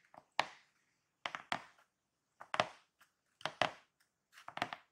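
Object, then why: Corrugated cardboard box. Fingertips and short painted fingernails tap and scratch the top of a large, closed, hollow corrugated cardboard shipping box near its tape seam, using both hands. Sharp, dry bursts with quick papery scrapes arrive in uneven clusters about once a second, each fading fast with almost no low end.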